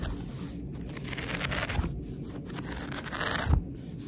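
Long red nails scratch along the page edges of a thick paperback book with paper pages and riffle through them. The result is a continuous, soft, papery scraping and rustling with a low rumble underneath, swelling in brief bright bursts, plus a slightly louder rustle near the end.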